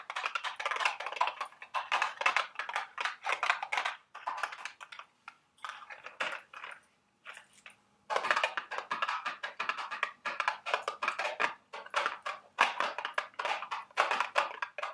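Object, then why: Small cardboard candy box. A small, hollow, printed cardboard candy box shaped like a milk carton is held in the hands and tapped with long, sharp acrylic nails. The result is a rapid stream of light, dry clicks with a papery, hollow tone and no low end. The taps come in dense bursts with brief pauses, including a quieter stretch with sparse taps around the middle.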